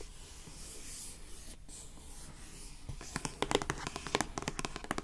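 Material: Cardboard.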